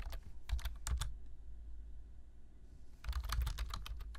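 Two hands type with their fingertips on a black plastic computer keyboard, tapping out quick, sharp key clicks. A burst of keystrokes is followed by a pause of about two seconds, then another burst, all over a steady low hum.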